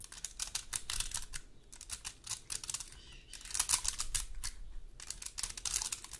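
A large, dry, woody pine cone is held in a hand while long gold metal claw nails scratch and tap across its scales. Quick bursts of bright, dry clicks and ticks come in rapid clusters, separated by brief quieter scratchy stretches. Each tick stops almost instantly with no ring.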